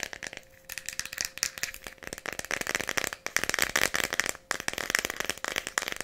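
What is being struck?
Plastic pill bottle containing pills.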